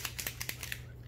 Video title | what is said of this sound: #45 - How to Color Glass Stones - Resin Art - Alcohol Inks - Inspired by @tammyandersonart | you need to shake it till you hear the little bead. Then you know it's shaking things around.